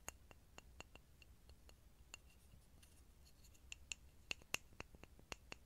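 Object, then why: Small grooved pine wood block. A small, solid, grooved pine wood block is moved around a mini microphone and tapped with fingertips. It gives a steady series of quiet, sharp, dry clicks with bright tops and almost no ring over a low background rumble. A few taps near the end stand out louder than the rest.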